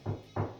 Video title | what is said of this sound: How to hang a double sided mirror in your bathroom. Step by step. | when you hit the stud, you get that sharp tap